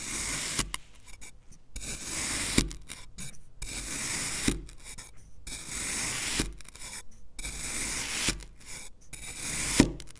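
A black knife slices and scrapes through a solid green kinetic sand fish shape cut in a criss-cross pattern. Long, gritty, hissing scrapes with a bright edge alternate with brief quiet pauses, and a few of the strokes end in a sharp little tap.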